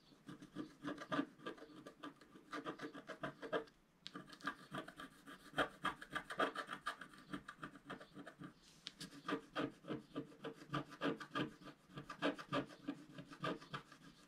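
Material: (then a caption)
Waxed paper. A wooden stylus scratches lines into the coating of a flat, black, wax-coated scratch art paper sheet, about A4 in size, lying on a white table while the other hand holds the sheet. The result is a steady run of quick, dry scratching strokes with a papery rasp, with brief pauses near 4 and 9 seconds before the strokes resume.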